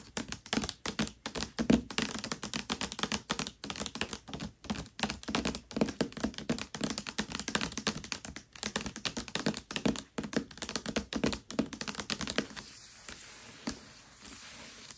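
Long nails tap and scratch rapidly with both hands across the glossy paper dust jacket of a Mistborn hardcover book lying flat and solid. The result is a dense stream of short, dry clicks and thunks with a crisp, bright edge. Near the end, the tapping stops and gives way to a softer, steady scratching hiss.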